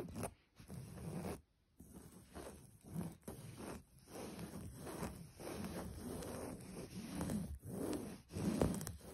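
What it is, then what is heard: Linen embroidered cloth. Long pointed nails and fingertips scratch and rub across a flat, soft beige linen-like cloth with black embroidery. A series of soft, dry scratching and rustling strokes is heard, broken by brief pauses and sitting mostly in the low range.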